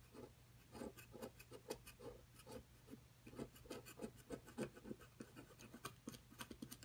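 A thin metal pick scratches and scrapes a solid plaster block from a dinosaur nest excavation kit resting on a table, sending plaster dust coming off. About sixteen short, irregular, gritty strokes rasp with bright, dry edges. They sit over a faint, steady low hum, and each dies away almost instantly.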